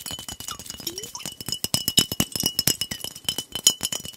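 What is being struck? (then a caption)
Glass soda bottle. A glass soda bottle with a blue cap is held horizontally while fingernails tap quickly along its body. The result is a rapid, uneven stream of bright, clinking ticks with a thin glassy ring near 3 kHz, and each tap dies away almost instantly.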